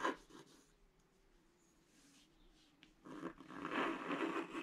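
A pointed wooden stick scratches a flat scratch-art page, black coating over colored paper, lying on a table. A short burst of dry scratching is followed by a quiet lull with a faint steady tone, then a longer stretch of rough, raspy scraping.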